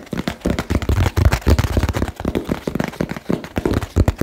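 Fingertips tap quickly on a small, hollow, labeled cardboard box. The result is a rapid, irregular stream of dull, low thumps with short, dry decays and very little bright content.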